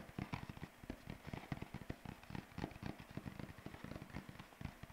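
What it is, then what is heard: Paper sheet flapped. A single white sheet of paper, held up by one corner and bent into a curve, is flapped with the fingers, producing a rapid, irregular run of short, dull crackling flaps. The sound is weighted toward the low end, with brief bright edges on each snap and almost no ring between them.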